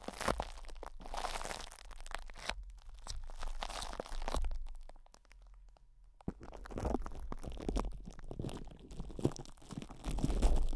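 Fingertips scratch and rub a metal microphone grille wrapped in cling film, and a knuckle or finger presses on its top. Dense, crunchy crinkling and rubbing with a heavy low-end rumble fills the clip, dropping to a quieter stretch around the middle before the crackling scratching resumes and grows louder toward the end.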